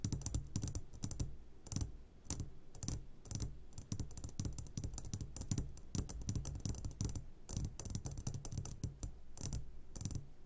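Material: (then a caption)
Glass. Fingertips tap rapidly on the sides of an upside-down clear glass jar full of hard candies. The result is a dense, steady run of short, dry clicks with a soft low thump under each tap and a bright edge, and no ringing afterward.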